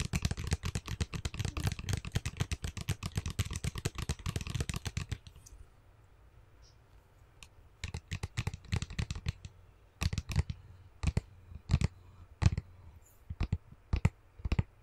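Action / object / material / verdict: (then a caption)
tap / plastic tub of slime / plastic / none. Fingernails tap a small clear plastic tub with a printed label, full of green slime, held up near the face. A fast, dense flurry of sharp clicky taps fills the first five seconds, then after a short quiet gap slower, separate taps return over a low steady hum. The taps are dry and short, with a hollow low thud under each bright click.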